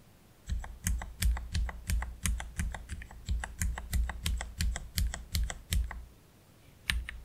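A single hand slowly types with its fingertips on a black Keychron K3 Pro low-profile mechanical keyboard with plastic keycaps and Gateron Red low-profile switches. Each keystroke gives a short clack with a deep thump underneath and a bright click on top, coming in an uneven, unhurried rhythm. A brief pause falls near the end before a final keystroke.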